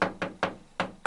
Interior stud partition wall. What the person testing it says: you can hear it, it's hollow, literally like an egg box, so it's just a dividing wall that's like an egg box